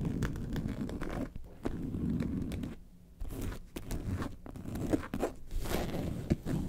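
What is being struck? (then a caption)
Faux leather carton-shaped bag. Long nails scratch the top panel of a faux leather lemonade-carton bag lying on its side. The result is a dense, rasping, low-weighted scratching that runs in bursts, with short pauses near 1.3 seconds and a longer quiet gap around 3 seconds before it resumes.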